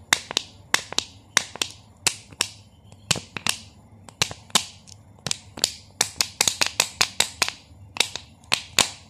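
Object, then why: Thin plastic water bottle. Fingertips squeeze and tap the thin, crinkly walls of a small clear plastic Nestlé Pure Life water bottle with a blue cap, hollow and partly filled with water, held in both hands. Twenty-seven sharp, bright, crackly clicks sound in an uneven rhythm, each dying away almost instantly over a faint low hum.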